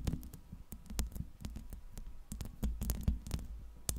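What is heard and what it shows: Long red-painted nails scratch and tap the round steel mesh grille over the hollow head of a Blue Yeti USB microphone, working from both sides. Quick, irregular taps land as deep, boomy thumps with short bright clicky edges, mixed with soft scratching that dies away almost instantly.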